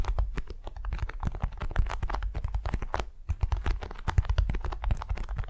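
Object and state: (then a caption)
Beeswax-coated cotton wrap. Long nails on both hands scratch and tap a large, flat, patterned beeswax-coated cotton wrap lying on a soft furry mat. The result is a dense, continuous stream of quick crinkly scratches and soft taps, muffled and heavy in the low end, with brief crackly bursts.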